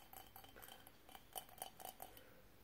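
Fingernails tap and scratch a small, hollow, empty cylindrical candle holder covered in mosaic glass tiles with a metal rim, held in both hands. A quiet series of short, bright glassy clicks and light scratches is heard, a few louder taps standing out near the end. Each tap has a faint tone and dies away almost at once.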